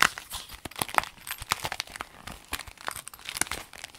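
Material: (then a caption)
Vinyl. A rainbow clear vinyl pencil case, rolled into a tube, is squeezed and crinkled in the hands. It makes a steady run of crisp, bright crackles and crinkles with little low end, the small sharp snaps coming irregularly and dying away at once.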